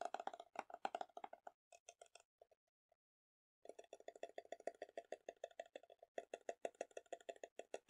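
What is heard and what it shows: Painted fingernails and fingertips tap and scratch on the white printed lid and clear sides of a small, round plastic tub full of green textured slime. The result is a quiet, rapid, uneven run of short, dry clicks with a hollow midrange tone and bright edges. The clicks thin out and pause for about a second midway, then pick up again, steady and dense.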